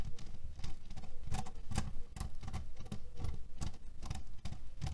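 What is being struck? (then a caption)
Cotton pillow filled with cherry pits. A flat cotton canvas pillow printed with cherries and filled with cherry pits lies on a table and is scratched and tapped with the short fingernails and fingertips of both hands. The result is a steady, dense pattering of soft, low, rattling taps and scratches with short, dull attacks and very little ring.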